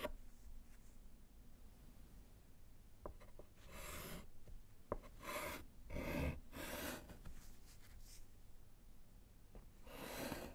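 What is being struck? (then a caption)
Wood-framed slate chalkboard with chalk. A gloved hand writes with yellow chalk on a small solid slate chalkboard in a wooden frame, making soft, airy scratching strokes in uneven bursts. A few sharp chalk taps sound between the strokes over a quiet, low background rumble.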